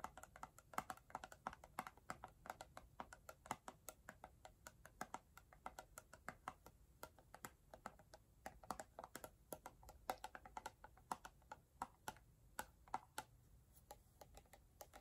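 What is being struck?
Plastic jar with plastic screw lid.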